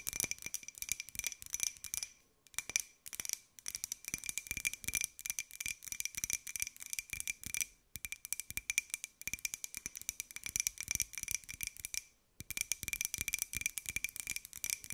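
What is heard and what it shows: Long nails tap rapidly on a small, hollow, empty white ceramic jar with a pink and gold pineapple print. The result is a fast, dense patter of bright, dry clicks with a faint high ringing tone, broken by brief pauses.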